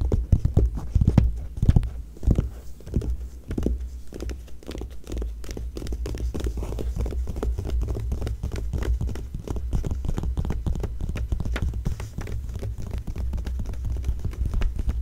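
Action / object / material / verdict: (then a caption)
tap / glossy paper magazine pages / glossy paper / none. Long nails on both hands tap and scratch the flat glossy paper pages of an open Vanity Fair magazine, one side a text page and the other a Neutrogena ad. Quick, irregular taps are heard, sharper and louder in the first few seconds, then settling into a steady stream of soft, dull, low-heavy tapping and scratching that runs to the end.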